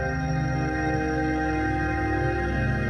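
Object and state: Nothing is struck.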